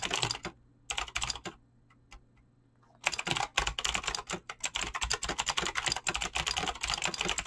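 Fingertips type fast on a Razer BlackWidow mechanical keyboard with clicky green switches and pink-blue dyed PBT plastic keycaps, giving bright, sharp clicks with very short decay. Two short bursts of typing give way to a near-silent pause with a single stray click and a faint low hum. A steady, fast run of clacking then fills the rest of the clip.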